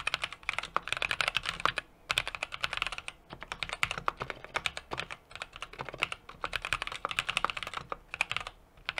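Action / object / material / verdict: tap / mechanical keyboard with aluminum case and plastic keycaps / plastic, aluminum / none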